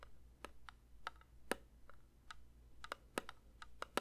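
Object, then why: Metal candle tin. A metal candle tin is lightly tapped with the fingers in a quick, uneven run of soft, dry clicks. Each tap is short, with a faint tinny ring around 520 Hz, over a steady low hum.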